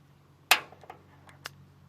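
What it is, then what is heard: Solid steel fender with no body filler. A small magnet taps against the steel front fender of a 1969 Pontiac LeMans, making a sharp, bright metallic click followed by fainter ticks. The fender is solid steel with full magnet pull and no body filler.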